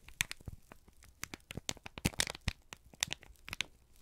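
A folded, crinkled brown kraft paper sheet is held in both hands and squeezed and crumpled with the fingertips. It makes a quick series of sharp, bright crackles and crinkles with brief tearing-like rustles, each dying away almost instantly over a quiet background.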